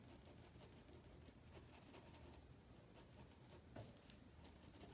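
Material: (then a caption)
Paper. A black pencil shades across a page of a white spiral paper sketchpad resting on a wooden table, making quiet, continuous scratchy rubbing strokes. The soft graphite rasp stays steady for the whole clip, with brief brighter flicks as the strokes change direction.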